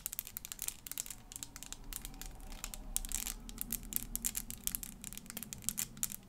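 A small, clear, hollow plastic 3D crystal elephant puzzle made of interlocking pieces is held in one hand and tapped and scratched with long fingernails. Quick, irregular, bright clicks and scratchy crinkling rattle in dense bursts over a steady low hum. Each tap ends almost instantly, leaving the sound crisp and dry.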